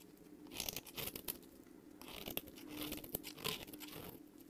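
A solid, semi-translucent light green bar of soap, hand-sized and held in one hand, is shaved with a long metal utility-knife blade, producing fine shavings. Each stroke gives a crisp, bright scraping crunch with a dry, papery tearing quality, repeating in quick uneven passes. The sound is close and quiet, with almost no ring after each stroke.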